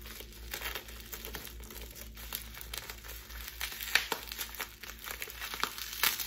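A small crumpled bundle of clear plastic bubble wrap, held in both hands, is squeezed and crinkled with fingers and long pink nails. It makes a steady, bright, dry crinkling with irregular sharp crackles, the loudest snaps landing near the four- and six-second marks. A faint low hum sits underneath throughout.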